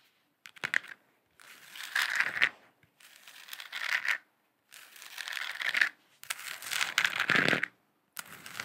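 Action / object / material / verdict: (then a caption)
scrape / plastic lamp sphere / plastic / none. A lit, hand-sized hollow plastic moon lamp sphere with a galaxy print is held in both hands and tapped and scratched with long acrylic nails. Bursts of dry, bright scratching and crinkly tapping come in separate runs, each roughly a second or so long, with short silent gaps between them.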